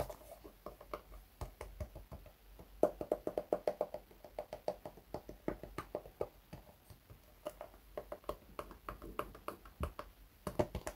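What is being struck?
Patent leather shoe with rubber sole.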